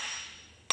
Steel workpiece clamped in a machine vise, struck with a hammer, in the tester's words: You can hear it's hollow, now it's solid. So it's seated on those two spacers. They're not loose anymore.